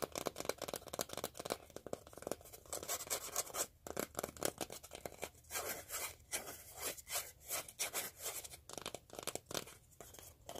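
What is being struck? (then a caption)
Cardboard tape core. An empty, hollow, palm-sized cardboard core from a used-up roll of duct tape is held up in both hands and rubbed and scratched with fingertips and nails. Dry, papery scratching and rubbing strokes come in quick, uneven bursts, bright and hissy with almost no low end. Some stretches are dense and continuous while others pulse in short repeated scrapes.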